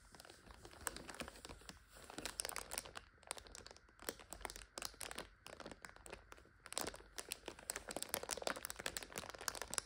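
A full plastic multipack of instant noodles stands on its end while hands grip and squeeze it and nails scratch the crinkly film. The result is a dense run of bright, sharp crinkles and crunches that come in uneven bursts and stop dead with no ring.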